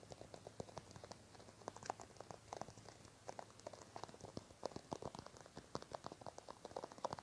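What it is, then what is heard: Plastic cream tube. Fingertips and nails tap and scratch along a small white plastic cosmetic cream tube held in both hands. The result is a quiet, rapid stream of short, dry plastic clicks and taps, centered in the midrange around 540 Hz with bright, crisp tips. There is a faint low hum underneath.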